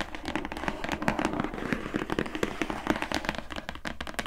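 Long nails rapidly tap along the top edge of a medium-size, closed, hollow gift box made of glossy printed cardboard, labeled "Into the Woods" by Glowria. The result is a dense run of quick, dry, hollow clicks with a slight papery resonance, each fading almost instantly.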